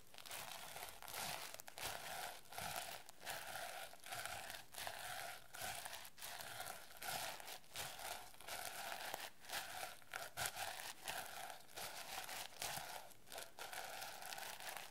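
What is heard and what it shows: Fingertips and nails rub across the plastic sequins of a notebook cover held at an angle, flipping their color. The result is a steady, soft crinkling rustle with bright, scratchy texture and irregular short brushing strokes throughout.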